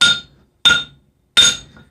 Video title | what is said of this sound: Meet Olga... My Beautiful German Double Horn Anvil! | it doesn't seem that your anvil rings. And you're right, it does not. That is in part from the sand-filled legs.